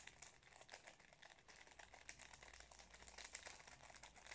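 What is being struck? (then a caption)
Metallised plastic snack wrapper. Fingers crinkle and rub the metallised plastic wrapper of a wrapped Napolitain cake. The result is a quiet, steady stream of bright, crisp crackles with high sparkle and very little low end, and each crinkle dies away almost at once.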